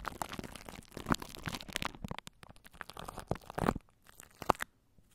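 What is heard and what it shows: Long nails scratch and crunch plastic cling wrap stretched over a microphone held in both hands. The result is close, dense crinkling and crackling in uneven bursts, with a few sharper crunches standing out. Short pauses fall between the bursts, and the sound fades to near silence at the end.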